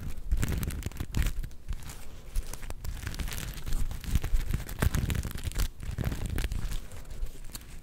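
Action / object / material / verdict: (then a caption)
scrape / sequin-covered plush fabric star / sequins, fabric / none. A palm-sized soft star-shaped plush covered in black and gold flip sequins is held in both hands and scratched with long nails. The result is a steady run of dense, rapid scratchy crinkling and crackling, with short bright ticks over a heavy low rumble.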